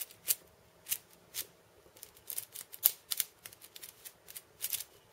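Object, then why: Wooden cabasa with steel bead chains. Fingertips and long painted nails tap and scratch across the steel ball chains wrapped around a wooden cabasa cylinder. The result is a quiet, irregular series of short, bright, rattling clicks and scrapes with almost no low end, each dying away almost instantly.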